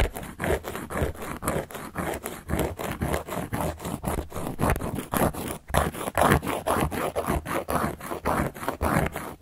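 A carving tool is scratched repeatedly across a large, round, solid cork board. The result is a steady run of short, dry, rasping strokes, about two per second in a loose rhythm, each dying away almost instantly, with a dull low-to-mid body and little brightness.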